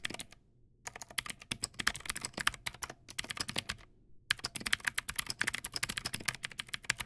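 Fingertips type on a Teamwolf Zhuque+ X08 backlit mechanical keyboard with white plastic keycaps and clicky blue switches. Rapid bursts of sharp, bright clicks with very little low end come in three runs separated by two brief pauses. Each click is dry and stops almost instantly.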